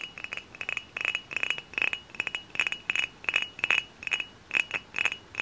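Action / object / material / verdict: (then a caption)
tap / dark glass bottle / glass / none. Multiple long fingernails tap on a hollow, dark glass cider bottle held in both hands. The taps come as quick, bright clicks in uneven clusters, each with a short glassy ring near 2.5 kHz that fades almost at once.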